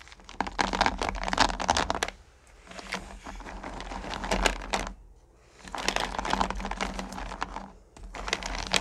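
A hand with long nails runs through and stirs small, solid sugar candy-corn pumpkins filling a purple plastic bucket. Dense, bright clicking and rattling comes in three busy bursts separated by brief quieter pauses, with a steady low hum underneath.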